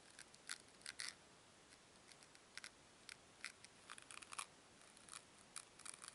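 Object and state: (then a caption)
Foam cubes. Two small solid white foam cubes are squeezed and rubbed together between fingers with long nails. The result is quiet, irregular bursts of dry, bright creaking and crackling, short and with little low end, over a soft hiss.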